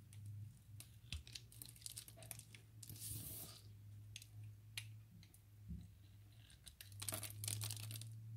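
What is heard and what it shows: A utility knife blade scrapes and slices a grid of small cubes from a solid, translucent orange glycerin soap bar held in the hands. Quick, crisp, bright scraping and crunching cuts come in an uneven rhythm over a steady low hum, with a denser burst of cutting near the end.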